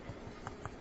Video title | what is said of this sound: Dutch Oven Bread | it kind of sounds hollow, and that's a good sound